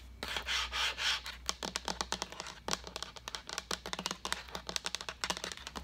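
Long acrylic nails tap the body and pink lid of a hollow, seemingly empty translucent white plastic pitcher as it is tilted and turned. Three soft, bright rubbing swells come first, then a fast, irregular run of sharp, dry clicks with very short decay. The taps stay bright and light, with little low-end body.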